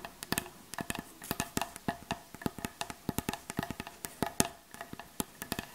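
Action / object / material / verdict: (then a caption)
tap / wooden surface / wood / none. A wooden surface is tapped in a quick, irregular run of about 30 sharp, dry knocks. Each tap dies away almost at once, with a hollow, woody tone and no other sound around it.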